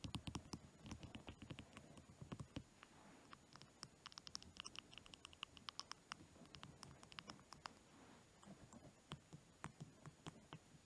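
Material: Wood.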